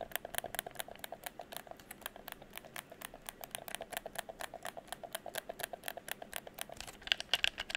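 Fingertips press the buttons and tap the shell of a hollow red plastic gamepad held in front of the chest. About 35 quick, dry, bright clicks and taps land in a steady patter, each dying away almost instantly with almost no low end. The last few taps near the end come out a little louder and sharper.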